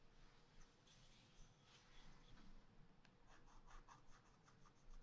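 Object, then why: Wax-coated scratch paper scratched with a wooden stylus. A pointed wooden stylus scratches short strokes into a black wax-coated scratch art paper page in a spiral-bound pad lying flat on a table. Quiet, dry scratching rasps come in quick, bright bursts, growing into a steadier run of short strokes in the second half over a faint low background hum.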